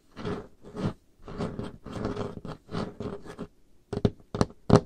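Painted nails and fingertips work over a large, solid, dark-stained wooden table top, making a run of soft, breathy scratching strokes with a low body. The scratching gives way to a few short, sharp, bright taps that stop almost instantly.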